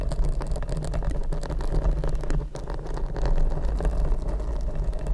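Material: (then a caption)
Foam. Long red nails scratch both sides of a large, hollow, black open-cell foam windscreen fitted over a Rode microphone. The result is a dense, continuous, muffled rumbling scrape concentrated in the deep lows around 86 Hz, with a steady level and almost no high end.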